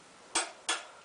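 A steel motorcycle wheel spoke is tapped twice with a wrench, giving two short, dull clinks with little ring that fade within a fraction of a second. The spoke is loose and dead and needs tightening.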